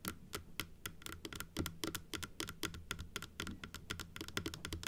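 Long nails tap quickly and unevenly across the blue top and the teeth of a large, hollow plastic dental model, held closed in both hands. About 30 dry, bright clicks sound, each dying away almost at once over a faint low, hollow body.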